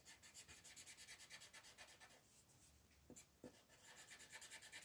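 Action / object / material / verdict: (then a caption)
scrape / paper page rubbed by a colored pencil / paper / none. A wooden colored pencil tip rubs a thin paper mandala page lying flat on a table in short, repeated coloring strokes, while the other hand, with long red nails, rests flat on the sheet. Quick, soft, bright scratchy strokes come in a steady rhythm, then ease into a quieter stretch broken by two sharper taps. The strokes then resume at full pace.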